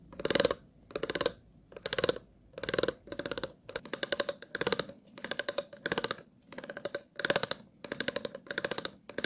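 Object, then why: Ridged plastic water bottle. The tip of a pair of plastic-handled scissors is scratched across the ridged grooves of an empty, hollow, clear plastic water bottle held in the hand. The result is repeated short bursts of rapid, dry clicking and ratcheting with a hollow midrange tone and a bright, crisp edge, separated by brief pauses.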